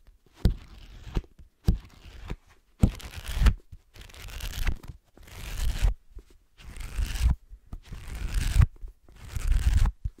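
Fingernails scratch and tap the cover and cream page block of a solid, black-covered paperback book held upright. Bursts of dry, papery scratching come in uneven bursts with short silences between, each marked by sharp taps and soft low thumps.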